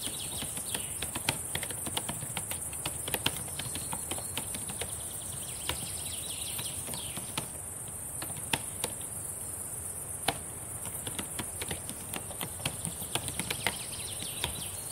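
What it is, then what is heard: Plastic laptop keyboard. Long painted nails and fingertips tap and type on the plastic keys of a black laptop keyboard. Rapid, irregular clicks and sharp taps sound over a steady high-pitched hiss throughout.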